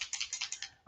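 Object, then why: Small liquid bottle with metal mixing balls. An airbrush foundation bottle with metal mixing balls (BBs) inside is shaken, and the balls rattle in a quick series of bright, high clicks. The clicks end in a louder, lower burst. The balls rattle as expected, which helps remix pigment that has separated in the bottle.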